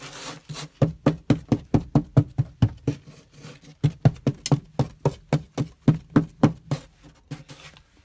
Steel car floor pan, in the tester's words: that is solid. No holes yet.